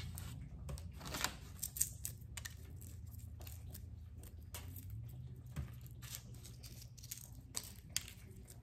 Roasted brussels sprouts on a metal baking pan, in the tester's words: you can just hear how crispy they are